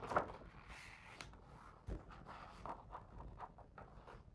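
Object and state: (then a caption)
Hardcover picture book page being traced. A fingertip traces the text across a paper page of a hardcover picture book lying open on the same spread. Quiet, dry rubbing and soft scratchy strokes are broken by a few brief muffled taps, the strongest near the start and just before the two-second mark. Each sound dies away almost instantly.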